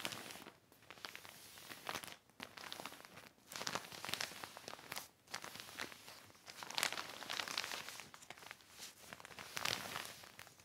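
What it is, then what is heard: Heavy plastic sheet. Fingertips and a cloth smooth, rub and crinkle a large black heavy plastic sheet lying on a red blanket. Bright, crackling crinkles and rustles come in bursts of a second or two, separated by brief quiet gaps, with almost no low end.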